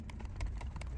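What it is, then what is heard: Loose comic book inside a graded plastic slab. A CGC-graded plastic comic slab with a comic book inside is shaken and tapped, producing six dull, low clicks as the loose book slides around inside the case. The case is loose, and the book shifts within it instead of being held firmly in place.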